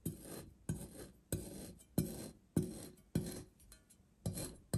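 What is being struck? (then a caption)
Kinetic sand shape scratched with a steel knife. The edge of a steel kitchen knife scores and scratches crosshatch lines into a hand-sized, solid and dense green kinetic sand seahorse shape on a white surface, with a pink sand shape lying untouched nearby. Each stroke starts with a soft, low, gritty scrape that fades into a short rasp, with strokes repeating at a loose, uneven pace.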